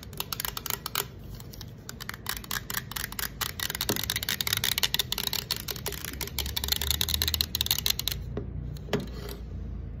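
Long acrylic nails tap rapidly on the side of a green aluminum soda can. The result is a dense run of sharp, bright, dry clicks that barely ring, over a faint low rumble. The tapping thins to a few scattered taps near the end.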